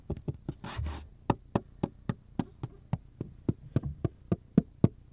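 Fingers knock and tap on a solid, thin black plastic cutting board with a handle slot, held upright beside the face. A brief soft brushing sound comes early, then a steady run of short, dull, low knocks with almost no ring.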